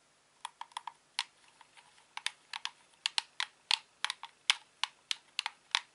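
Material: Plastic.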